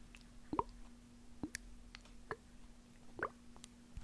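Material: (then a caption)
Plastic. A small hollow white plastic eye drop bottle with a label and liquid inside is held in one hand close to the microphone while it is shaken, squeezed and tapped with fingertips and nails. Soft, short plopping taps and squishy clicks arrive in scattered bursts over a faint steady low hum, and each one dies away almost instantly.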